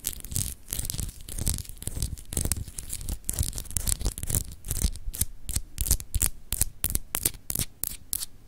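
Long acrylic nails scratch the etched surface of a palm-sized solid clear glass globe paperweight. Many quick, dry scratching strokes come in bursts, with bright, hissy high-end texture over a low rumbling thump.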